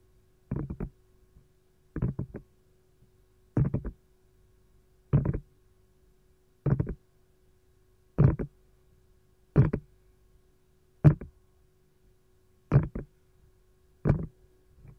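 Long gold nails lightly tap an empty green silicone lime-slice ice cube tray lying compartment side up. Ten short bursts of quick, soft taps sound dull and low, with almost no ring, over a faint steady hum.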